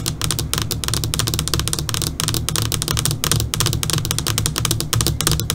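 Long, pointed dark purple fingernails on both hands tap rapidly across the surface of a switched-off, flat black LCD computer monitor screen. The result is a dense, continuous stream of sharp, bright, typing-like clicks over a steady low hum.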